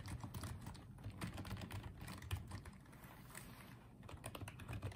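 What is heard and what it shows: Fingertips type on and tap the keys of a small pink and white plastic Apeach wireless keyboard. A quiet, steady stream of soft, dull key clicks with little ring, mostly low thuds, with a slight lull in the middle.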